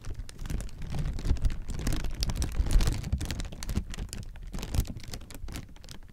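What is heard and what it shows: Clear plastic air-pillow packing, partly deflated, is crumpled and squeezed in the hands. The result is a dense, continuous crinkling of many small crackles, with a heavy low rumble underneath and brief bright snaps rising and falling throughout.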